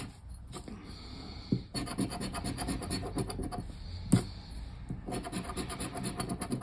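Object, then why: Paper scratch card on wooden table. A thin cardboard lottery scratch-off ticket lies flat on a wooden table while a hand scratches away the remaining coating with the edge of a black plastic disc. A dense run of quick, dry rasping strokes fills the clip, with a couple of sharper taps standing out.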